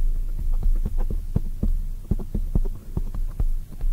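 Long nails tap a black oval foam microphone windscreen while hands are cupped around it. The result is a run of soft, muffled, deep thumps with almost nothing in the highs, throbbing like a heartbeat over a steady low rumble.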